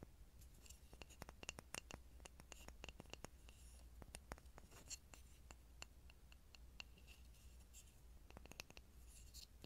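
A small, solid, grooved pine block held near a mini microphone is tapped and scratched with fingertips and nails. Many short, dry, clicky taps ring around 2.8 kHz, with bright scratching in between. A steady low hum runs underneath throughout.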